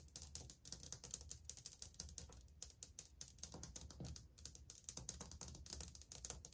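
Long painted fingernails tap old, flat, solid glazed ceramic subway tiles on a wall, first with one finger and then with several. The result is a fast, uneven run of sharp, bright clicks that die away almost instantly, over a faint low hum.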